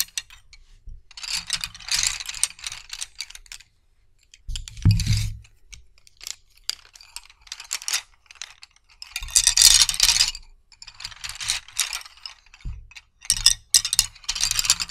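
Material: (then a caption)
Wood. Two bunches of solid wooden colored pencils are rubbed and clacked together with the fingertips. Bursts of dry, bright clicking and rattling come in irregular clusters, with short gaps between them. Occasional soft low thumps sound under the clatter.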